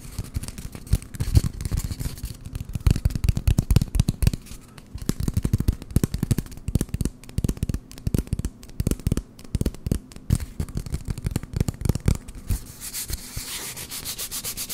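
Fingertips rub and scratch an empty, hollow brown cardboard toilet paper roll held close to the microphone. The result is rapid bursts of short, dry, hollow thumps and scratchy clicks with a deep, boomy low end. Near the end it turns into a steadier, brighter rubbing sound.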